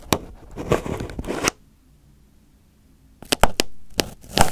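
Fingers pick and pinch crumpled aluminium foil wrapped over a microphone head, making close, crackling crinkles and scrapes. A dense burst of crinkling is followed by about a second and a half of near silence, then sharp, separate crackles and rustling return.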